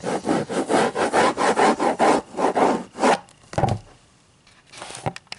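Fingers scratch and rub the cover of a hardcover book in a quick, steady run of dry, wood-like rasping strokes. The strokes then stop, followed by a single sharper scrape. After a quiet pause, softer rubbing returns with a few faint ticks.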